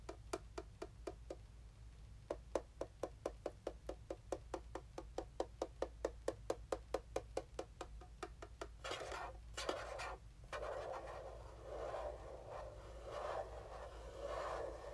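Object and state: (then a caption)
Plastic mini game console. A small, hollow black plastic mini game console is held in one hand while the fingertips of the other hand knock and tap on its top. A steady series of short, dry, hollow clicks with a midrange body dies away almost instantly. After about nine seconds, the clicks give way to a denser, continuous scratchy texture with a brighter edge.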